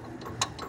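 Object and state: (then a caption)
Loose, worn propeller shaft cross joint. A worn steel cross joint on a Still forklift's propeller shaft, loose with a lot of play, is wobbled and gives three light, dry clicks, the middle one sharpest. The joint is rusted because it had no grease nipple and was never lubricated, and it knocks when the forklift climbs under load.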